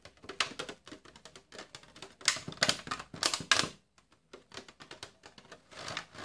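A small, thin, clear plastic clamshell tray full of sliced cold cuts is held in both hands and handled with the fingertips, squeezed, crinkled and tapped as it is opened. Quick bright clicks and crackles come in clustered bursts, with brief hiss-like crinkles, a short quiet gap, then softer scattered taps.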